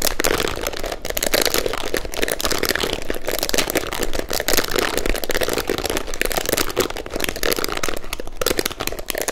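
Long nails rapidly scratch and flick through the plastic bristles of a pink plastic detangling hairbrush held up close. The result is a dense, steady stream of crisp crackling clicks that continues without pause for the whole clip.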